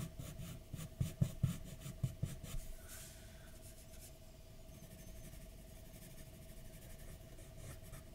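A graphite pencil draws in light scratching strokes across a large white paper sheet lying flat on a dark desk. About five soft, low taps stand out in the first few seconds, then the scratching settles into a quiet, steady rasp, with a faint constant hum underneath.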